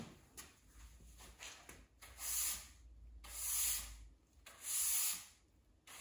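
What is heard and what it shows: A plastic-bristle push broom on a long handle is swept across a large, solid, bare cement floor indoors while the person stands mostly still in flip-flops. After a few light scratchy brushes, three long sweeps rise and fade as the bristles rub and scrape the rough surface with a bright, hissy rasp over a low steady hum.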